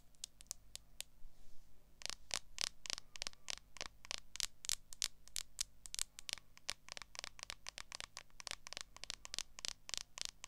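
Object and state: Smartphone in clear plastic case.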